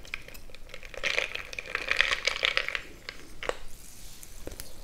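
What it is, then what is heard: Glass jar mug of crushed ice being stirred. A bamboo stick is plunged into a frosted glass mason-jar mug full of crushed ice and stirred, crushing the ice against the glass. Dense crunching and bright clinking swell in the middle, with short glassy ringing tones. The sound thins out into a few sharp taps near the end.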